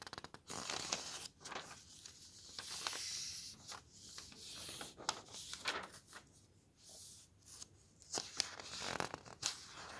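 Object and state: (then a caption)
Thin paper road atlas pages being turned. Fingertips lift, slide and turn the thin paper map pages of an open road atlas. The clip is filled with bright, airy rustling broken by sharp, crisp flicks and snaps as each page moves, with quiet gaps in between.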